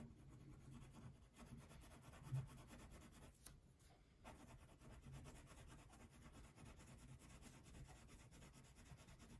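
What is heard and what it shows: A purple wax crayon shades a thin paper coloring sheet resting on a table, rubbing back and forth in steady strokes. The result is a quiet, continuous low scratchy rasp, broken by two brief louder ticks and short pauses in the rubbing.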